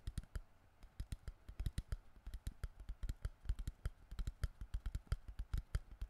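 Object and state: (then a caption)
Empty crumpled plastic water bottle. Fingertips tap rapidly on an empty, crushed, hollow clear plastic water bottle held in both hands near the mic. About 38 short, dry clicks follow one another unevenly in quick bursts, each with a low thump and a bright edge that dies away at once.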